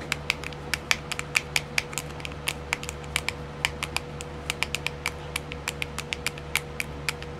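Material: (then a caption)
Plastic. Long silver-painted nails tap and scratch the lid of a small, round, clear plastic compartment wheel filled with colored rhinestones. The result is dozens of quick, sharp, bright plastic clicks with a hard tick around 2.3 kHz, each dying away almost instantly. A faint scratchy texture and a steady low hum run underneath.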